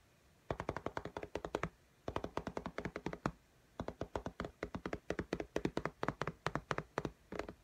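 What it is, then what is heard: Glass tablet screen, fingernail tapping. Long fingernail tips tap very fast on the glass screen of an iPad in a pink case, making 52 crisp clicking taps. The taps come in three bursts separated by short pauses, the last burst the longest. Each tap is a short, dry click with a mid pitch and almost no ring.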